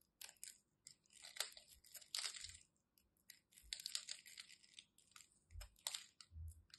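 A craft knife blade carves into a solid white bar of soap with a grid-scored surface, breaking off crumbly chips. Quiet, bright, dry crunching and scraping come in irregular bursts, each cut crackling briefly with almost no low end or ring.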